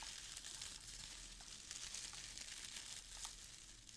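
A hand digs into and rummages through brown crinkle-cut shredded paper filling a small open cardboard box. It makes a steady, quiet, bright crackling rustle of paper strands for about four seconds, with small sharp crinkles scattered throughout.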